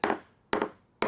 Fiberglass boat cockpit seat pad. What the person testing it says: all of these feel pretty good even including the one that's pretty wet